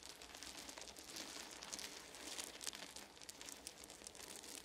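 Both hands press down on a pile of small solid wooden beads resting on a blanket, rubbing it and gathering the beads with the fingers. A dense, steady stream of bright, crisp clicking and crinkly rattling follows, with small bursts as the beads shift and knock together.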